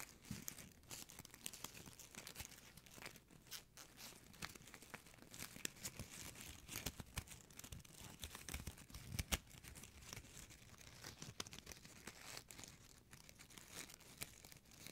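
A small gold metallic plastic ribbon bow is squeezed, scratched and crinkled with fingertips and nails. The result is a steady, quiet stream of bright, crackling crinkles and scratchy rustles, punctuated by sharper snaps throughout.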